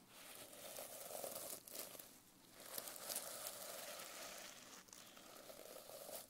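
A palm and fingernails rub and swipe across the sequins of a reversible sequin-covered notebook cover. The result is a quiet, steady, bright crinkling and scratchy rustle with a faint mid-range tone, briefly dipping a few times as the strokes change direction.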